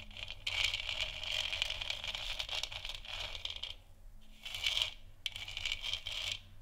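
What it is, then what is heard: Plastic moon lamp. Long nails tap and scratch a large, hollow, textured plastic moon lamp sphere. Bright, dry scraping comes in several bursts, with light taps mixed in and brief quiet gaps between them.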